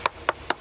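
Three short, sharp taps on a weathered sandstone block of a historic facade give a hollow, brief knock centered near 1 kHz with almost no ring. The stone sounds hollow because it has separated from its base and formed a complete shell, with a visible crack and the piece even moving, so it must be replaced.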